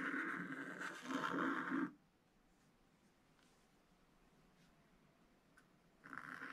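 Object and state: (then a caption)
Scratch paper being scratched with a stylus. A pointed wooden stylus scratches long curved lines into a thin black-coated rainbow scratch paper page in an open spiral book, drawing a chick's body and legs. A dry, raspy scrape runs for about two seconds, then fades to near silence with a few faint ticks. The scratching starts again near the end.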